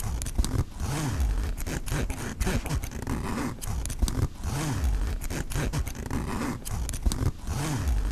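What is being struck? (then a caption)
Nylon backpack pocket zipper with metal pull. Fingers run the metal-pull zipper back and forth along the front pocket of a black mesh nylon backpack, opening and closing it. The result is a steady, rasping, low-heavy zipping with quick ticks from the teeth and a rising-and-falling tone on each pass.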